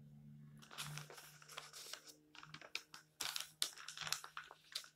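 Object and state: Glossy paper magazine.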